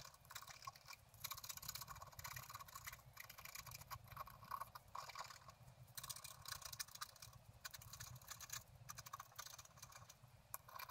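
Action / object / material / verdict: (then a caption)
scrape / black-coated scratch art paper card scratched with a wooden stylus / coated paper / none. A wooden stylus scratches across a flat, black-coated scratch art card lying on a table, with the other hand held flat on the card, scratching out a bicycle on a blooming meadow. Quiet, dry, bright scratching comes in rapid, irregular bursts with brief pauses between strokes, over a faint low background hum.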